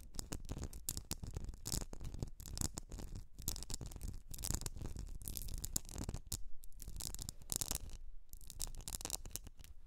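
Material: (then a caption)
Glass. Long nails scratch and tap a medium etched glass candle jar filled with solid wax, making a dense run of quick, dry taps and bright scratchy hiss over low thumps. The jar is tilted at the end.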